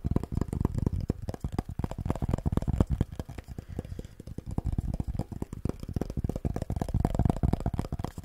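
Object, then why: Wooden cutting board. Fingertips and nails rapidly tap and scratch the face of a solid, flat wooden cutting board with a handle and hang hole, held in both hands close to a furry microphone. The result is a dense, continuous run of short, dull, bassy knocks with very little high-end and almost no ring, interspersed with soft scratching.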